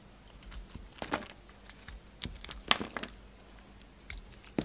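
A hand-sized solid oval soap bar with a purple ribbed outer layer and pink inside, held in one hand, is carved with a yellow utility knife blade. Short, dry, bright scraping crunches come at irregular intervals as the blade cuts into the soap, with quiet pauses in between.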